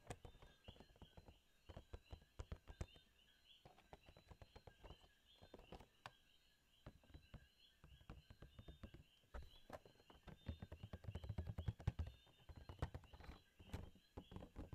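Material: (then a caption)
Cardboard. A small, hollow Funko Pop cardboard box with a plastic window and a figure inside is held up and tapped with fingertips and nails. Quiet, irregular bursts of soft, dull taps and light clicks come in quick clusters, each dying out at once with no ring. A faint steady background hiss runs underneath.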